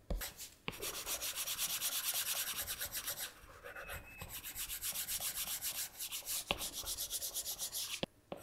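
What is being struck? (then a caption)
Plastic stylus tip on a glass touchscreen. A plastic Apple Pencil tip rubs back and forth on the flat glass touchscreen of an iPad while blending. It makes rapid, bright, scratchy rubbing strokes in a steady rhythm, broken by short pauses and a few sharper taps of the tip on the glass.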